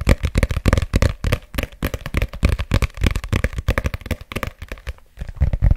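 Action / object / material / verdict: tap / paperback book with glossy cover / paper / none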